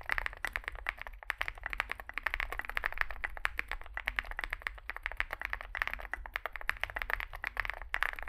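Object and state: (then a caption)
Mechanical keyboard being typed on. Two hands type with their fingertips on a Zoom65 65% mechanical keyboard resting on a desk mat, with a dark, likely aluminum case, white and grey SA-profile plastic keycaps and lubed switches. The rapid, dense key taps are short and crisp with a bright clack centered near 1.8 kHz, decaying almost instantly over a faint low rumble.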